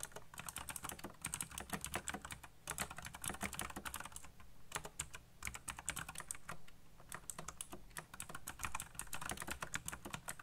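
Fingertips type quickly on a backlit black plastic mechanical keyboard, producing a dense run of sharp, bright key clicks over a low thud. The typing continues for the whole clip with only brief pauses.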